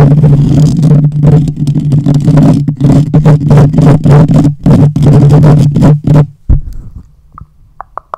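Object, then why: Metal mesh microphone grille. Fingertips and nails scratch and rub the hollow metal mesh grille of a fist-sized black USB condenser microphone while the hands also cup over it. This makes dense, intense, booming scraping bursts that are heavy in the low end for about six seconds. The sound then drops to a quiet hum with a few faint, short ticks.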